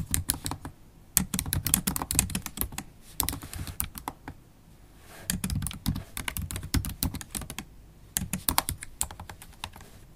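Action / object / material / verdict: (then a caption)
tap / laptop keyboard with plastic keys in a metal body / plastic / none. Long acrylic stiletto nails type on a MacBook Pro keyboard with black plastic keys in an aluminium body. Rapid, sharp clicks and taps come in bursts, with low thuds beneath and bright nail ticks on top. There is a short pause around the middle before the typing resumes.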